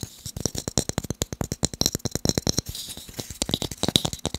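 Fast tapping on wooden blocks makes a rapid, uneven series of dry, sharp taps with almost no ring. Each tap has a bright click over a soft low thump, and the quick taps blur into a rattle-like patter.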